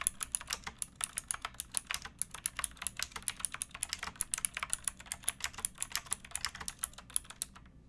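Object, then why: Plastic mechanical keyboard. Both hands type steadily on a pink backlit mechanical keyboard with plastic keycaps, using fingertips and nails. About 48 sharp, bright, clicky keystrokes land in quick succession, each dying away almost instantly over a faint low background hum.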